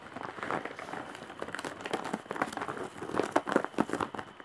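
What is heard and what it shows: Long dark-painted nails scratch and press across the large, flat woven straw/jute bag face with embroidery. The result is dry, crinkly scratching and crunching in quick irregular bursts, mostly in the mid range, growing a little louder and more clipped toward the end.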